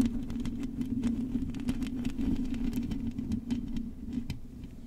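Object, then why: Metal mesh microphone grille scratched with long nails. Long acrylic nails on both hands scratch across the hollow metal mesh grille of a silver microphone. A dense, buzzing low drone holds steady throughout, dotted with quick, sharp scratchy ticks that flash up into a brighter crackle. The level stays fairly even and eases off slightly toward the end.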